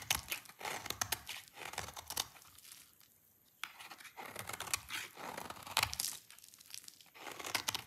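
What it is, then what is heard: Dry soap bar being shaved. A rectangular solid bar of dry purple soap, held in one hand, is shaved with a utility knife blade into long curls. Bright, dry scraping and crackly tearing strokes come in uneven bursts, with a brief quiet gap in the middle.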